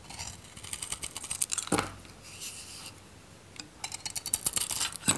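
A metal craft knife shaves a solid, dry, oval white Godrej No.1 bar soap with a yellow-gold varnish coating, held in the palm. Crisp, bright scraping and crackling strokes come in quick bursts, with a quieter stretch of softer scraping in the middle before the sharper shaving picks up again.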